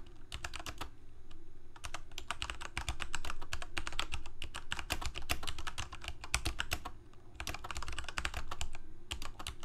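A full-size black plastic Corsair K68 gaming keyboard with backlit keycaps, Cherry MX Red switches and a hollow plastic case is typed on continuously with the fingertips of both hands. Rapid, irregular clacks and short bright clicks blend over a low hollow thud that carries most of the sound.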